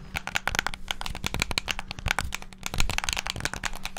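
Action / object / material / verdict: tap / plastic game controller / plastic / none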